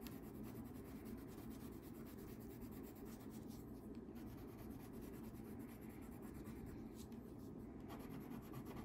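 A yellow wax crayon scribbles and rubs across a thin paper coloring sheet lying flat on a table, held in place by the other hand. The result is a steady, quiet, continuous scratchy rubbing with a soft, muffled tone and very little bright content, lasting the whole clip without clear breaks.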